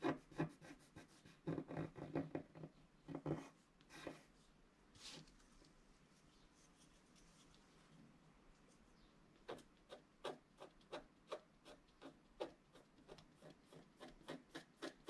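A wooden stylus scratches finely across a flat scratch-art card of black wax-coated paper while the other hand holds the sheet. A quick burst of dry, rasping strokes fills the first few seconds and is followed by a near-silent pause. Short scraping strokes then resume at a steady, spaced pace, each with a crisp, bright edge.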